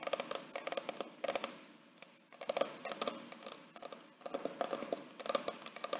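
Fingertips and short nails tap and scratch the textured paper/cardboard hardcover of a large white "Mr. & Mrs." wedding photo album with an inset photo window, held upright and solid. Quick, dry clicks and soft scratchy patter come in clustered bursts with brief pauses, centered in the mids with bright, crisp edges and no low-end. Each tap dies away almost instantly, with no ring.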